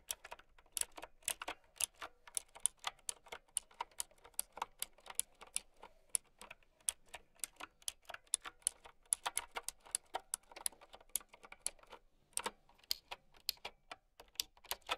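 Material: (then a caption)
Plastic. Long dark-red nails and fingertips type on a mint typewriter-style plastic mechanical keyboard with round white plastic keycaps, resting on a fur rug. Crisp, bright clicks fall in quick uneven bursts with brief pauses between them, each snapping off at once with almost no low end.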